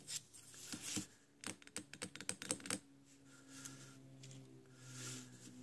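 Long fingernails tap and scratch across the ribbed surface of a small, hollow, ridged orange scallop shell resting on a sand-covered surface beside a starfish and small shells. A quick run of sharp, bright clicks stands out in the middle of the clip, framed by softer scratching and rubbing over a faint low hum.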